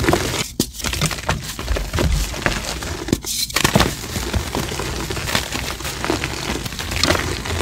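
Bare hands with short painted nails squeeze and crumble solid chunks of pale blue and white reformed gym chalk (magnesium carbonate) blocks over a blue mold tray, crushing and rubbing them between the palms and fingers. A steady stream of dry, crackling crunches and gritty rubbing continues throughout, with a few sharper snaps. The chunks break down into powder and small crumbs.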